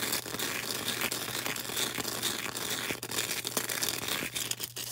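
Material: Floral foam.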